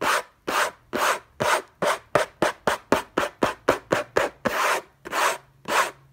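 Fingertips and short nails scratch the lid of a closed, long rectangular orange Hermès cardboard gift box covered in textured paper, lying on a fluffy blanket. About 18 rough, bright scratching strokes come in a fast, uneven rhythm, some short and some drawn out, with each stroke a dry rasp that stops cleanly.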